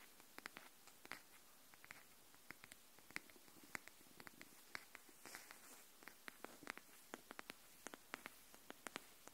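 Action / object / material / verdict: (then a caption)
tap / cardboard hardcover notebook / cardboard / none. Long nails tap and scratch along the spine and edge of a pink cardboard hardcover paper notebook held edge-up. About three dozen quiet, sharp, dry clicks land at an uneven pace, each with a bright crackle and almost no ring. Soft scratchy rustles sit over a faint steady hiss.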